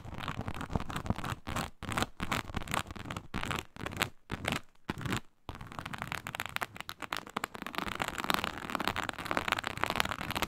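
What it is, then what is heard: Faux snakeskin leather mat. Long pointed nails on both hands scratch across a flat, iridescent blue-purple faux snakeskin leather mat (likely synthetic leather) with an embossed reptile-scale texture, laid flat. The result is a dry, crackly, broadband scratching with quick, sharp strokes. It comes in choppy bursts with short silent gaps early on, then turns into a steadier, denser and brighter run of scratching for the second half.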